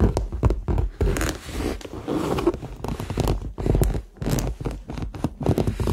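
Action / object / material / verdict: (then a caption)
scrape / faux leather handbag with metal hardware / faux leather / none. Fingernails tap and scratch across the surface of a hollow, medium red structured faux leather handbag with metal hardware. The result is a dense run of soft, muffled thuds and dry scraping rustles, mostly low in tone, with short bursts and brief pauses.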